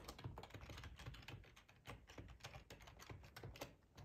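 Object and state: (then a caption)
Plastic computer keyboard. Fingertips of both hands type steadily on a black plastic ergonomic split computer keyboard with a hollow housing, lying on a tablecloth. A quick run of soft, hollow clicks and taps with a low thud under each keystroke and very short decay.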